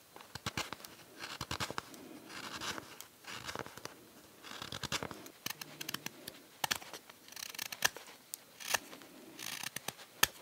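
A steel knife shaves and scrapes the rim and back of a small, solid, pale green-wood spoon bowl held in the hand. Repeated bursts of dry, bright, rasping shaving strokes alternate with sharp little clicks and scratches, each stroke stopping dead with no ring.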